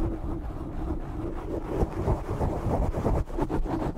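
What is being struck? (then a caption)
Foam microphone windscreen. Fingertips with short nails scratch and rub a black foam windscreen on a microphone, producing a steady, dense, low rumbling scrape. Uneven rubbing strokes swell and fade throughout, with little brightness above the muffled low end.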